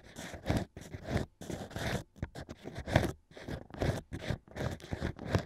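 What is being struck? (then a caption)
Hollow cork rings scraped by bamboo picks. Two thin bamboo ear picks, held by fingers, scrape and scratch inside the hole of stacked hollow cork rings fitted into the ear opening of a plush binaural mic ear. The result is a series of close, dry, crunchy scratching bursts with a low, rough body, separated by brief pauses at an uneven rhythm.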